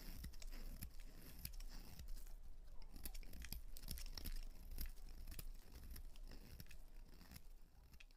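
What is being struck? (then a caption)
Bar of soap cut with a knife blade. A utility knife blade carves into the face and edges of a solid white soap bar held in hands with purple nails, with white shavings falling away. The cutting and scraping comes through as quick, irregular crisp scratches and crunchy snicks over a low rumble. The peeling and slicing continues steadily throughout.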